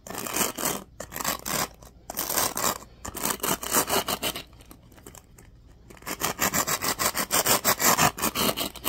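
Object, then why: Plastic paddle hairbrush. Fingertips rub and scratch the teal-tipped bristles of a black plastic oval paddle hairbrush held toward the camera. The result is rapid, bright, dry scratching strokes in uneven bursts, with brief gaps and a quieter, softer stretch in the middle. The scratching then returns denser and louder toward the end.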